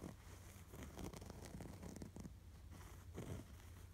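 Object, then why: Stuffed canvas throw pillow with stitched appliqué. Fingernails scratch across a soft, stuffed cream canvas throw pillow, moving over the fabric and its stitched red appliqué sweater. The quiet, dry rasping strokes have a steady low rumble underneath and short bursts of brighter scratching.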